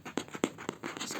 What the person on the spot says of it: ah this is a nice sound this craft paper is amazing